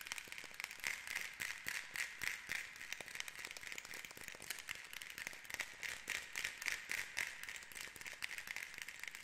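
Long nails tap and scratch the carved light-wood disc capping the end of a hollow painted rainstick tube held steady. Quick, irregular, crisp clicks mix with soft scratching, bright and thin with almost no low end and a faint ring near 2 kHz. Each tap dies away almost at once, at a quiet level.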